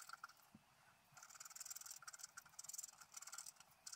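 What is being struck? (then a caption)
Coated scratch-art paper sheet scraped with a wooden stylus. A wooden stylus scratches fine lines into the coating of a flat black scratch-art paper sheet lying on a table. Quick, bright, dry scratching strokes come in short bursts and longer stretches, with brief pauses between them. Each stroke stops sharply with no ring.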